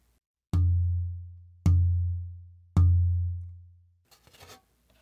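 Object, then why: Engelmann spruce soundboard plate. An Engelmann spruce soundboard plate, matched in dimensions and density to a piece of European spruce, is tapped three times for its tap tone. Each tap gives a low, resonant thud around 90 Hz that rings and fades over about a second, followed by a brief faint rustle. Its tap tone has a fundamental nearly identical to that of the matched European spruce plate.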